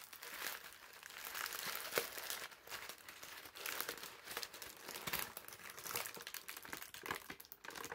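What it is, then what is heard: Crumpled parchment paper. A crumpled ball of thin brown parchment paper is squeezed and then unfolded, giving a steady run of dense, crisp crunching and crinkling. The sound is bright and airy with almost no low end, and a few sharper crackles stand out from the continuous rustle.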